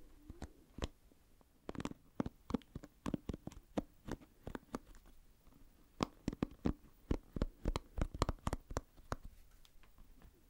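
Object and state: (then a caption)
Plastic pin-bristle hairbrush. Fingertips scratch and flick the pin bristles of an oval plastic paddle hairbrush held by its handle, close to the microphone. Around 29 short, dry ticks and snaps come quietly over a soft low rumble, sparse at first and then in a denser run from the middle onward.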